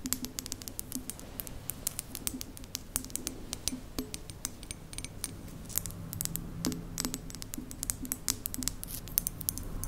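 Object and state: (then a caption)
Ceramic mug tapped and scratched with nails. Long nails tap and scratch the body of a hollow white printed ceramic mug with a lid, held by its handle. Rapid, sharp, bright clicks come in quick, irregular bursts, mixed with light scraping, over a steady low background rumble. Each tap is dry and short, with almost no ring.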